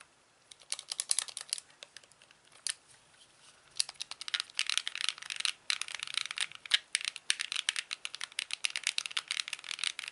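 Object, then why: Hand-held plastic game controller. Fingertips click the buttons and tap the surface of a hand-sized, hollow white plastic Wii Classic controller with its cable attached. Dry, bright, very short clicks and taps come in quick irregular bursts, sparse at first and growing denser and louder after about four seconds, with almost no low end.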